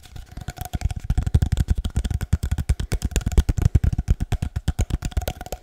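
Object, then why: Cardboard paper-towel tube. An empty, hollow cardboard paper-towel roll is held in both hands and tapped quickly with the fingertips. The result is a rapid, uneven run of dozens of short, dull, hollow thumps, heavy in low bass and dying away almost instantly, with a faint steady tone near 700 Hz underneath.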